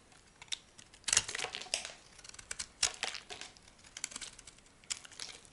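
A solid chunk of brown laundry soap, held in the hand, is scraped with a metal blade into crumbly dry flakes. Bursts of crisp, bright, crackly scraping come and go, with a few louder strokes standing out over faint crumbling between them.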